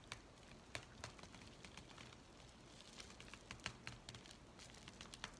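Fingers bend, crumple and crinkle an empty white USPS paper mailing envelope. Quiet, dry crackling and papery rustling run throughout, broken by sharp, bright snaps that fade almost instantly over a low, soft hiss.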